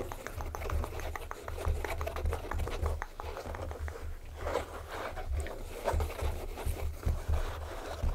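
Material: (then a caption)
Leather. Fingertips and nails tap and scratch the smooth leather uppers of a pair of small cherry-red Dr Martens kids boots, laced, hollow and empty, standing on a table. A quick run of dull, low, hollow-sounding taps, with short scratchy brushes of nail on leather mixed in. Each tap dies away almost instantly.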